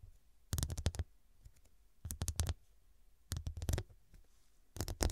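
Long, dark, pointed nails tap rapidly on the square faceted glass studs covering a medium, soft, filled fabric cushion. The taps come in four quick bursts separated by quiet pauses, the last one cut off at the end. Each burst is a cluster of sharp, bright clicks over a dull low thump, and each click dies away almost at once.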